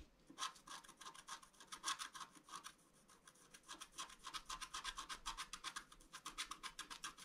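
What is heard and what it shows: A bamboo stylus scratches a flat scratch-art card of black wax-coated paper in rapid strokes while the left hand holds the sheet flat. Each stroke makes a quick, dry, bright rasp with almost no low end, pausing briefly before resuming in a steady run.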